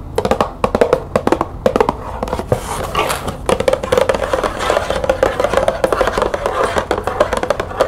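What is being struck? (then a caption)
Small closed cardboard box of tea bags. Long nails rapidly tap and scratch a small closed green cardboard tea box with tea bags inside as it is held and set on a table. Quick, dry, hollow clicks with a papery tone near 516 Hz come in fast bursts, broken around the middle by a stretch of rough, hissy scratching before the fast tapping resumes.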